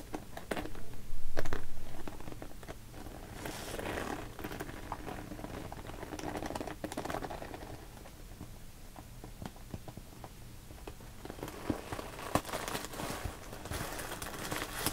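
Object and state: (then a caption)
Vinyl zipper pouch. A small, hollow, translucent pink PVC cosmetic pouch with a purple zipper is handled by long painted nails. The nails scratch along the zipper and tap and squeeze the vinyl sides, producing soft, quick, crinkly patters and scratches. A louder burst comes near the start, over a steady low hum.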